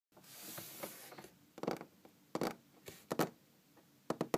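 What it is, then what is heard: Wooden tabletop tapped and scratched with fingernails. Long green-painted fingernails from both hands scratch across a large solid wooden tabletop, making a soft hissing swell that lasts about a second. A scattered run of sharp, dry, clicky taps on the wood follows. The taps are quiet and stop almost instantly.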